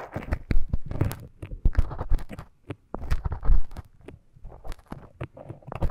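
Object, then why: Silicone ear model scraped with a thin bamboo stick. A thin bamboo stick scratches inside the ear canal of a life-size soft silicone ear model. Close, low, muffled scrapes and crackles come in quick, uneven bursts with short pauses between them.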